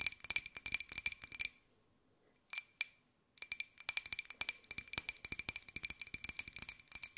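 Long white nails tap a small, hollow, white glossy ceramic pineapple jar, held sideways and then upright. Dozens of quick, bright, clicky taps carry a faint ringing tone near 2.4 kHz and die away almost instantly, with very little low end. A burst of tapping breaks into near silence with just a few isolated taps, then a dense run of tapping resumes to the end.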